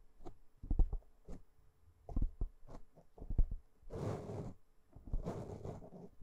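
Long nails of one hand scratch across the top of a black foam windscreen on a microphone. The result is a series of short, muffled, low thumping scrapes, broken by two longer rushing, crackly rubs that reach high into the treble.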